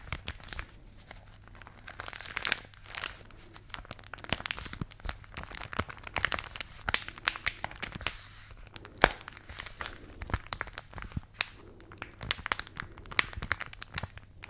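A glossy paper magazine, rolled into a hollow tube and held in both hands close to the microphones, is squeezed and rubbed with fingertips and long nails. Dense, bright crinkling and crunching come with many sharp, short clicks and taps over a quiet low hum.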